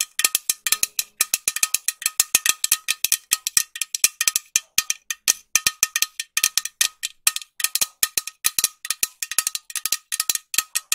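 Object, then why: Metal aerosol can. Long nails tap a green metal aerosol spray can with a white cap, making a rapid series of dozens of short, bright metallic clicks. The taps come in uneven bursts, with a faint ring around 1.3 kHz under each one and no low end.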